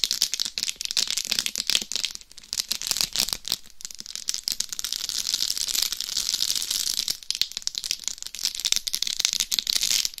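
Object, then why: Dummy head microphone covered in plastic rhinestones. Very long nails scratch and tap across a life-size binaural dummy head microphone, a hollow shell covered in small plastic rhinestones, first over the top of the head and then the face. The result is a dense, bright, crackly rattle of quick clicks and scrapes, almost all in the high range with very little low end. It ebbs quieter for a few seconds in the middle before picking back up.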